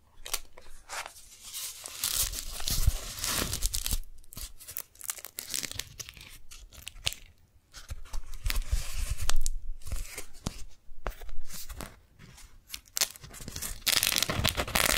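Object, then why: Beeswax-coated cotton food wrap. Fingers fold, peel and crinkle a sticky pink strawberry-print beeswax-coated cotton food wrap. Bursts of papery crackling and sharp, tearing-like peeling sounds come in uneven clusters, with short quiet gaps between them. The crisp, bright crinkles stop quickly with almost no ring.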